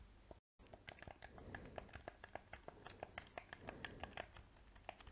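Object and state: Plastic game controller clicked and tapped.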